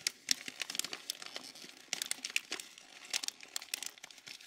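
A single thin, glossy paper calendar page, a purple June sheet, is crumpled and squeezed between the fingertips of both hands. The result is a dense run of sharp, bright crinkles and crackles with almost no low end, each snap dying out almost instantly.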